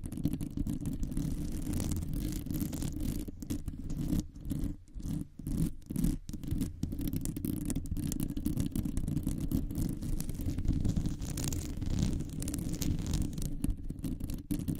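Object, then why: Metal mesh microphone grille. Long nails of both hands scratch over the hollow metal mesh grille of a large condenser microphone. The result is a dense, continuous, boomy scratching rumble, mostly low in pitch, with brief gaps in the middle where the strokes pause and start again.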